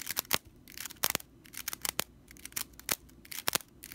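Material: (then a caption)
Straw. Long nails scratch across the straw bristles of a stitched straw whisk broom, making a series of sharp, dry, rattling bursts. The scratches are bright and crackly with almost no low end, stopping instantly between strokes against a quiet background.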